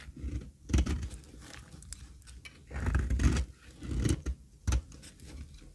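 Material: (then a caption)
Soap. A metal utility blade scrapes and cuts thin flakes from a flat, solid, pale beige dry soap bar, held by a hand with long red nails over a heap of shavings. Repeated strokes give dry, crumbly scraping bursts with a dull, low-heavy body, separated by brief quieter pauses.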